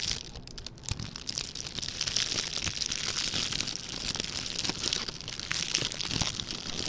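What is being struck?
Metallic plastic ribbon gift bow.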